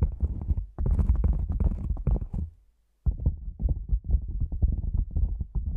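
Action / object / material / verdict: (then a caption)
tap / padded nylon fabric lens pouch / nylon fabric / none. A hollow black padded nylon fabric lens pouch resting over the microphone is tapped on top with fingertips and nails, producing rapid, muffled, deep thumps with a boomy low-end resonance. The tapping comes in two dense bursts separated by a brief silence near the middle.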